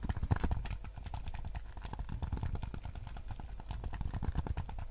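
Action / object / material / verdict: tap / hard plastic game controller / plastic / none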